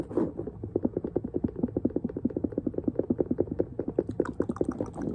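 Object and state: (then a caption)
Leather sneaker. Fingertips and nails quickly tap and scratch around the side and lace area of an empty, hollow low-top two-tone leather sneaker with a rubber sole, held up in the air. The result is a fast, uneven stream of short, dull, hollow taps with a mid-low body. Light scratchy, bright ticks come through near the end.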